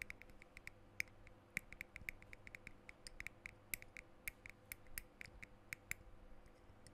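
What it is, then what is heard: Glass perfume bottle. Fingertips and nails tap and scratch the glass sides and silver metal cap of a small dark blue glass perfume bottle held near the microphone. The result is a quick, uneven run of short, bright clicking ticks centered near 2.2 kHz over a faint low hum, each tap dying away almost instantly.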